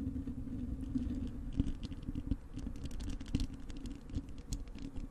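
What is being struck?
Wire-mesh metal microphone grille.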